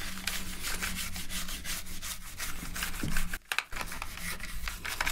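A gloved hand scrubs a toothbrush back and forth between the keycaps of a dirty black plastic gaming keyboard. The clip is a steady, bristly rubbing hiss made of quick repeated strokes over a faint low hum, with a brief pause midway before the scrubbing resumes.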